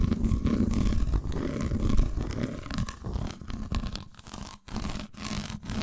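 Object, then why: Dark chocolate bar. Long nails tap and scratch a solid, unwrapped dark chocolate bar, first held up and then laid flat on a towel with its textured, dotted underside facing up. The result is a dense, low, rumbling scratch-and-tap texture with quick, dry taps that fade to brief pauses near the end.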